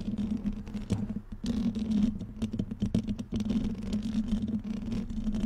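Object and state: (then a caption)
Metal mesh microphone grille. Fingernails from both hands scratch and tap a black metal mesh microphone grille. Dense, quick clicks and scrapes patter over a steady low hum near 227 Hz, each tap dying away almost at once.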